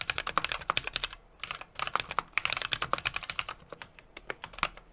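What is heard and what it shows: Fingertips type continuously on a small 60% mechanical keyboard with an aluminum case, brass plate and plastic keycaps. About thirty crisp, bright clacks come in quick uneven bursts with brief pauses, centered near 1.1 kHz with almost no low end. Each keystroke stops almost instantly.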